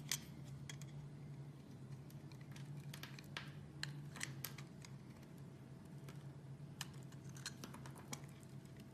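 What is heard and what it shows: A small metal blade shaves and scrapes thin curls off the edge of a solid white rectangular bar of soap held in the hand. The result is a quiet run of short, crisp, bright scraping ticks over a steady low hum.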